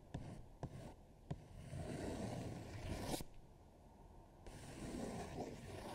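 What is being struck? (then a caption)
Paper sheet. One hand scratches and rubs a thin paper coloring sheet, printed with a colored eagle drawing and lying flat on a dark table, using long nails and fingertips. Three sharp nail ticks come first, then a swelling, dry scratchy rub that builds to a bright peak and cuts off. After a brief quieter gap, a softer rustling rub resumes.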